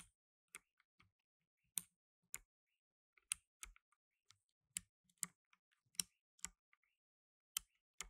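Blue nitrile-gloved fingertips press the plastic keycaps of a black tenkeyless mechanical keyboard, typing slowly. Separate, sharp, bright key clicks land at uneven intervals, each dying away almost instantly with very little low end. The overall level is quiet, with silence between strokes.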